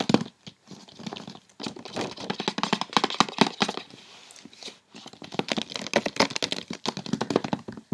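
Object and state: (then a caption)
Cardboard gift box. Long red-painted fingernails of both hands quickly tap and scratch the lid of a large, closed, rectangular white cardboard Issey Miyake perfume gift box lying flat on a bed. Rapid, dry clicks and scratchy rasps come in dense bursts, with a brief lull near the middle. Each tap is short and crisp with almost no ring.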